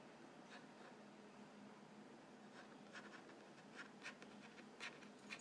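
A fingertip and nail tap and scratch the narrow side panel of a printed cardboard Vegetable Thins crackers box, held upright, hollow and filled with crackers. Quiet, dry scratching runs over a faint steady low hum, broken by short, brighter taps that fade almost at once.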